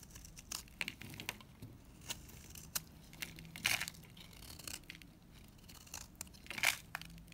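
A solid lilac NIVEA bar soap, held in the hand, is scraped with a utility knife. Quick, dry, bright scraping and crumbly crackling strokes come in irregular bursts. Dry crumbly shavings peel off the bar.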